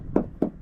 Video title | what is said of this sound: WHAT TO LOOK FOR WHEN BUYING A LEXUS IS300 | If you tap it, doesn't sound hollow, you know, then yeah, somebody either probably put body filler, it's rusting out from the outside in